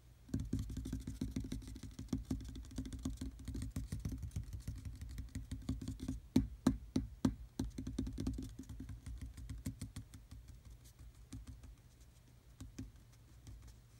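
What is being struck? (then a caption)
Molded plastic dashboard panel. Fingertips and short nails of several fingers tap repeatedly on a large, black, textured hard-plastic dashboard panel of hollow molded trim in a Jeep Wrangler. A quick, uneven run of dull, low, hollow knocks with very short decay fills the clip, with a few sharper, louder taps near the middle before the tapping softens toward the end.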